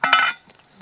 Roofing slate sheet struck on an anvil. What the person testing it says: on entend un son qui est quand même assez clair, donc ça nous indique qu'il n'y a pas de fracture